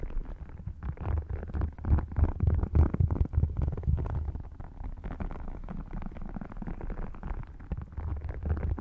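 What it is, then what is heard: Faux crocodile leather wallet. An open red faux crocodile leather wallet, thin, flat and hollow, lies over a microphone on a lap while fingertips with short dark-painted nails tap and scratch its scaled surface. The result is a dense, irregular run of muffled, boomy low thumps, about four per second, with soft scratchy texture and almost no bright content.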